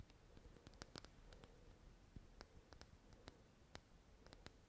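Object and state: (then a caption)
Glass dropper bottle. Long nails tap and click on a small glass dropper bottle full of golden liquid, making a quiet, irregular series of sharp, bright clicks with almost no ring. A soft low hiss sits underneath the taps throughout.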